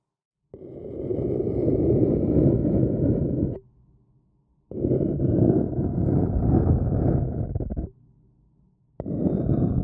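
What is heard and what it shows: A thin wooden stick scratches the outer wall of a small, hollow, empty white printed paper cup held in one hand. It makes a dense, low, rough scraping in three sustained bursts separated by short pauses, with the last cut off at the end. The sound is muffled and dark, with almost no bright top.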